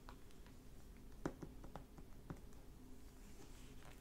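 Fingertips and nails tap and lightly scratch across the glossy plastic-covered dust jacket of a closed hardback library book, The Half Brother, lying flat on a wooden table. A few soft, dull, short taps stand out over a quiet bed of faint scratching, with little ring and most of the sound sitting low.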